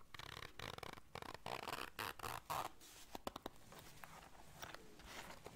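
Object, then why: Small fabric zipper case. A small, round black fabric zipper case is held in the hands while long dark nails zip it and scratch its surface. Rough, rasping zipper pulls come in quick bursts through the first half. Softer scratching and a few sharp clicks follow in the second half.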